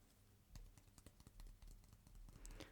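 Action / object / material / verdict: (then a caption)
tap / wooden stick / wood / none. A wooden stick, the one placed in the mouth earlier in the exam, is tapped as part of a wood-or-plastic listening test and turns out to be wood. A quick run of soft, dull clicking taps is heard, quiet and weighted toward low frequencies with short decays.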